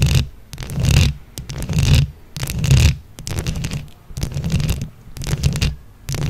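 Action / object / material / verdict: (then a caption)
scrape / microphone head covered in small plastic buttons / plastic / none. Long acrylic nails on both hands scratch and tap a round microphone head covered in small plastic flower buttons. Rhythmic swells of close, boomy, low rumbling scratching rise and fade roughly once a second, with bright clicky crackle on each peak and near silence between.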